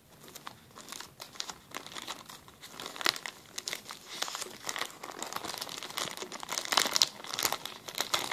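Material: Plastic.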